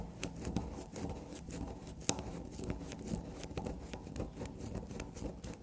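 Long black nails scrape, dig and tap at a small solid black soap block with a shaved surface, held in the hand and resting on a table. Quick, soft scratching crackles along with short, dry taps, a few sharper clicks standing out above the steady crunchy texture in a small, quiet space.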